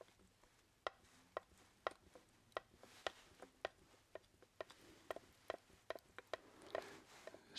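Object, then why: Hardboard clipboard. A brown hardboard (masonite) clipboard with a metal clip, a thin flat solid board, is held up and tapped with the fingertips. About fourteen short, dry, separate taps have a hollow knock around 625 Hz and a bright click on top. Each tap dies away almost instantly over a quiet background.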